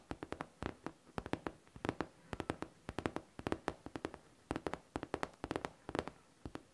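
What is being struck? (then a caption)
Faux leather backpack. A hollow pink faux leather backpack with a smooth surface is tapped and scratched with long nails. About 41 quick, dry, clicky taps come in uneven bursts with a hollow mid-low body and bright edges, each dying away almost instantly, with faint scratching between them.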